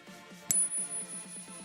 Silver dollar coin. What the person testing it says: You hear how nice that is, how full, and it resonates for a long time?